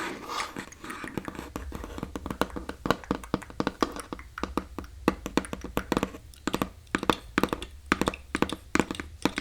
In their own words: 16:28-18:29 Hollow Box Tapping and Scratching